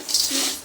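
Fried corn chivda is stirred with a spoon to coat it in a spice mix, giving a bright, dry rustling crunch that swells and fades, then starts again at the end. The crisp, crackling sound shows the snack is crunchy.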